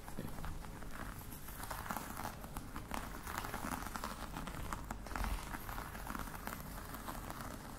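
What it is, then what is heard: Faux leather box tapped and scratched with nails. Long nails tap and scratch the lid of a flat black box with a crocodile-embossed faux leather cover and metal studs, closed and likely hollow, lying on a table. The result is a steady, dense run of soft, muffled taps and scratchy rustling, heavy in the low end with little brightness, with a slightly louder burst around five seconds.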